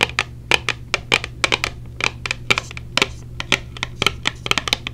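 A small, hollow, clear plastic case with silicone earplugs inside is held in the hand and tapped rapidly with long painted nails. About 24 sharp, bright clicks with a hard plastic tick near 2.5 kHz come in quick, uneven bursts over a faint, steady low hum. Each tap dies away almost instantly.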